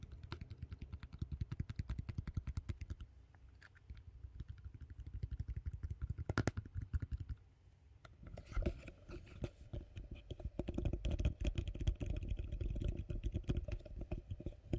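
A medium, empty, hollow yellow plastic bowl is held in hand and tapped rapidly with fingertips and nails, then turned toward the mic. The dense, quick taps give dull, hollow, low-pitched knocks with very short ring. After a brief quieter stretch around the middle, the tapping returns louder and fuller.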